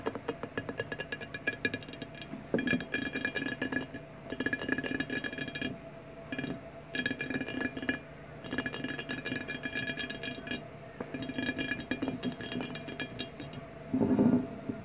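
Fingernails tap rapidly on the front and top of a large, empty, rectangular clear glass 1800 margarita bottle lying on its side on a wooden table. Bursts of quick, bright glassy clicks with a faint ringing tone alternate with short pauses. A louder, fuller cluster of taps comes near the end.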